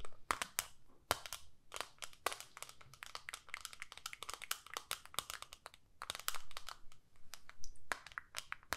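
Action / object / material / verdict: tap / plastic eyeshadow palette / plastic / none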